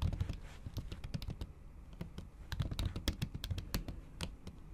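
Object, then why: Laptop keyboard under a thin silicone cover. Long acrylic nails type rapidly on a MacBook keyboard covered by a thin pink patterned silicone skin. The result is a dense run of soft, muffled keystrokes, mostly low, dull thuds with short, bright clicks from the nails tapping the keys, each dying away almost instantly.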